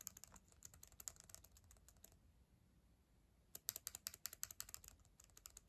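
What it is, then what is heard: Plastic laptop keyboard. Long acrylic nails type on the plastic keys of a black ThinkPad laptop keyboard, making quick, bright clicks with a sharp tap on each key. Typing runs in a burst, pauses for about a second and a half, then resumes in another burst.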